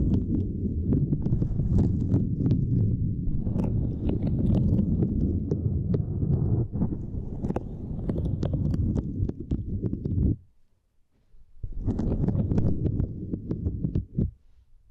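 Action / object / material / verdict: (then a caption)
scrape / silicone grid mat / silicone / none. Long nails scratch and tap across a small, flat purple silicone grid mat resting on a microphone, making a dense, low, muffled rumble dotted with quick bright ticks. The scratching runs steadily for about ten seconds, stops briefly into near silence, then starts again before fading out.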